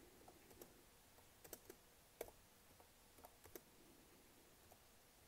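Long manicured nails tap and click across the black plastic keys of a Lenovo laptop keyboard. Sharp, short clicks come at irregular intervals over a quiet background, with a few standing out louder than the rest.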